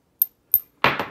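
A disc of a non-gold metal is tapped four times for comparison with a 50 pesos Centenario gold coin, giving short, dull clicks that die away almost at once. The last two taps are louder and fuller, with a brief low-mid decay. There is no ringing ping, so it sounds different from the gold coin, because every metal has its own sound.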